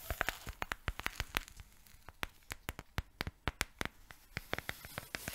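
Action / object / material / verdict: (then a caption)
tap / cardboard oat flakes canister / cardboard / none. A yellow cylindrical cardboard oat flakes canister, apparently filled, is tilted and shaken while its lid area is tapped with long nails. The result is a quick, uneven series of sharp, dry, clicky taps with a bright crackly edge, separated by a soft granular rustle.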